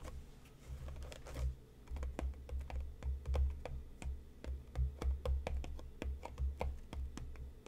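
Fingertips and nails of both hands tap the front and sides of a closed, hollow, medium-sized printed cardboard tea box resting on a cutting mat. The result is a quick, irregular run of sharp, clicky taps over a soft, low, hollow thump, each tap dying away almost at once.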